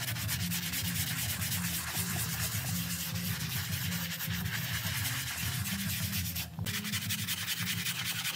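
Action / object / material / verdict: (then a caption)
scrape / synthetic pile rug scrubbed with a bristle brush / synthetic fibre / none. A gloved hand scrubs a grey and black patterned synthetic-pile rug, wet with soap foam on the floor, using a bristle brush. Steady, rhythmic rasping strokes produce a dense bright hiss over a low, rumbling drone, with a brief pause near the end before the scrubbing resumes.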